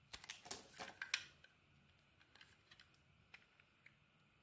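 A metal blade scrapes and cuts slices off a pink-dotted solid bar of soap, now mostly white where it has been shaved, while it is held in the hand. A quick run of bright, dry crunching scrapes fills the first second. It then thins out to scattered faint clicks and ticks with almost no ring.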